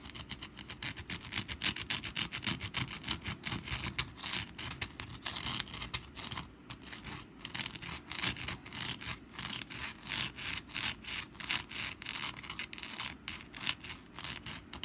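Long black nails rapidly scratch the textured surface of a rust-brown papier-mâché pumpkin decoration held in both hands. The result is a steady run of dry, crisp scratching strokes with a bright, hissy texture and very little low end, each stroke stopping almost instantly.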